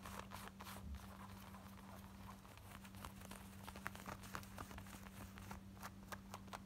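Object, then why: Denim shorts. Long nails quickly scratch and tap on the front and back pockets of worn, light blue, ripped and distressed denim shorts. The result is a continuous, quiet rasp of fabric scratching with short, bright tap clicks, over a steady low hum.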